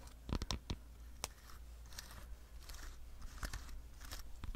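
A red, hand-sized plastic dog slicker brush with fine metal wire pins and a solid handle is held in one hand while fingertips and long nails scratch and tap its plastic back and bristles. Sharp, dry crunchy clicks and brief scratchy rasps come in uneven bursts over a steady low hum, each tap dying away almost instantly.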